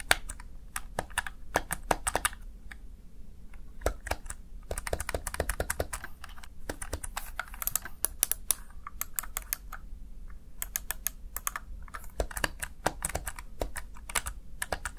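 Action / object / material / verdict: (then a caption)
tap / plastic gaming keypad / plastic / none. Fingertips tap and press the keys of a small black plastic backlit Razer Tartarus Chroma gaming keypad, producing a steady stream of short, sharp plastic clicks and clacks. The bursts come in quick irregular runs with brief pauses, over a faint low background rumble.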